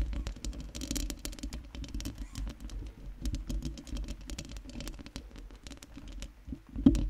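Long nails scratch and tap on the round metal mesh grille of a microphone, making a fast, steady stream of crisp clicks and scratchy patter over a low, boomy rumble. The sounds stay fairly soft and even, with one louder, sharper tap near the end.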